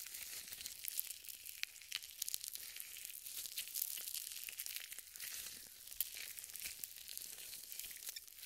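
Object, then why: Nitrile gloves coated with lotion. Purple nitrile gloves smeared with lotion are rubbed together, one hand sliding over the back of the other. The result is a quiet, continuous squelching friction with bright, crinkly high-frequency texture and frequent small sharp clicks, with almost no low end.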